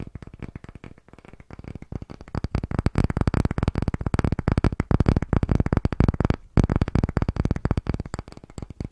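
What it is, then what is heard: Pine wooden disc. Fingertips and short nails tap and scratch rapidly across the face and edge of a palm-sized, solid, unfinished light pine disc with visible grain, held in both hands close to the microphone. It makes a dense, fast stream of dry, short wooden taps and scratchy clicks with a heavy low thump and a bright edge. The taps break only in brief gaps near 1 second and 6.5 seconds.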